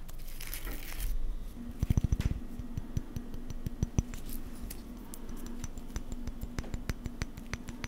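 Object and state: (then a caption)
Plaster dental casting, scratched. A plaster casting of teeth is scratched and tapped, producing a string of short, dry clicks and scratches with no ringing tail. The sound sits mostly in the low range, with a faint steady tone running underneath.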